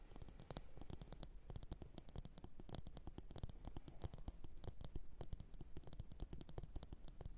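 Long orange nail tips rapidly tap a medium glossy blue ceramic bowl that sits hollow and empty, upside down on a fur mat. The taps come as a dense, steady stream of quick, dry clicks with almost no ring, each with a bright edge over a soft low thump.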